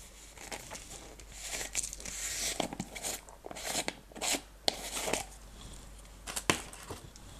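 A small clear plastic jar partly filled with blue-green decorative stones is shaken in hands with long red nails, then its white lid is twisted off. The stones make bright, crinkly rattling bursts, followed by sharp plastic clicks and scrapes as the lid turns.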